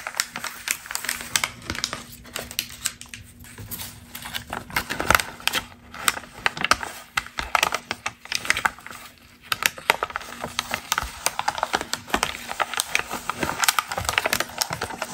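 A single thin, crinkled glossy magazine page printed with a woman in a pink top is held at its edges and crumpled by fingertips with long green nails above a stack of pages. Dense, rapid, crisp crackles and rustles fill the clip with bright, sharp snaps that stop instantly, over a faint steady low hum. There is a brief softer lull just before the crinkling picks back up.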